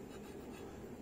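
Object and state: Nothing is struck.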